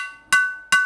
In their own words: And yes, I did say sounds different. When you strike PPSCF, it rings.